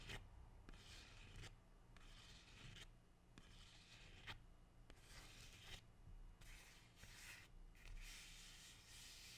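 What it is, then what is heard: Rubber plant leaf being rubbed. A single large, dark green, waxy rubber plant leaf, thin and flexible, is held close and rubbed with fingertips and nails. Repeated bursts of bright, dry rubbing and scratching alternate with short pauses over a steady low hum.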